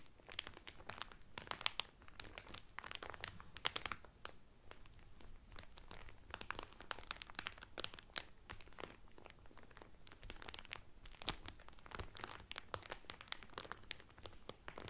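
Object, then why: Thin plastic cellophane wrap around a folded cloth towel. Fingertips and medium-length painted nails press and crinkle the loose, thin clear cellophane sealing a folded blue terry Carnival towel lying flat on a table. Dense, bright crackles and crisp snaps run quietly and steadily throughout, with occasional sharper pops standing out.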